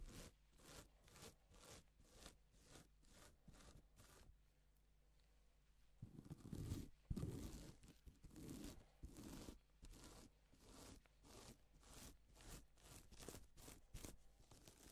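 Gloved fingers sweep across a flat, reversible pink and silver plastic sequin fabric sheet, flipping the sequins over. Quick, rhythmic bursts of dry, crinkly, bright rustling are heard over a faint steady low hum. The strokes pause briefly, return louder and rougher, then settle back into an even sweeping pattern.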